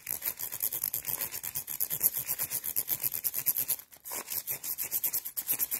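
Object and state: Rhinestone mesh bag.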